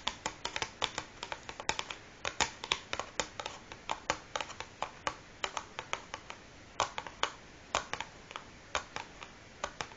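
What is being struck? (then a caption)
Cardboard matchbox filled with matches. Long fingernails of both hands tap and scratch the printed top of a large, closed, hollow cardboard matchbox filled with matches, lying flat on a wooden table. About 46 quick, dry, bright clicks come in an irregular stream with almost no ring or low end, and faint scratching fills the gaps between them.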